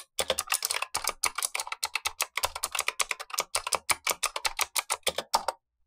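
Gloved fingertips type continuously on a black tenkeyless Razer Huntsman V2 mechanical keyboard with clicky switches and plastic keycaps, while an upper keyboard sits idle. A rapid, uneven stream of sharp, bright clicks follows with very short decay and almost no low end, and it ends with a brief pause and one last tap.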